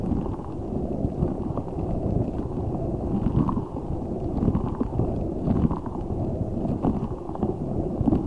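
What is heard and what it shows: A large translucent rubber spiky ball filled with gel water beads is squeezed by both hands. It makes a steady run of low, wet squelching and gurgling sounds, with soft pops rising briefly above a dense, muffled rumble.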